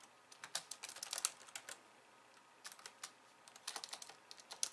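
Long nails and fingertips type on a pink plastic slim keyboard with white keys. Light, bright, clicky keystrokes come in two quick bursts separated by a short pause, each click dying away almost instantly with no low-end thump.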